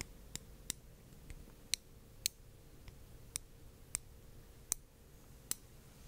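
A small, solid, palm-sized glass orb lit in blue is held in one hand on a small stand near the microphone and tapped with the tip of a thin dark-red stick, like a brush or chopstick. Eight sharp, bright, high-pitched clicks are heard, each dying away almost instantly, with a few fainter taps between them over a quiet low hum.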